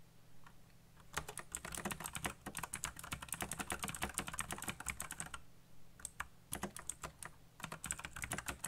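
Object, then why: Plastic mechanical keyboard. Fingertips type fast on a backlit black plastic mechanical keyboard with RGB lighting and hollow key switches. Dense runs of sharp, bright clicks fill most of the clip, pausing briefly about two-thirds through before shorter bursts resume. A steady low hum sits underneath.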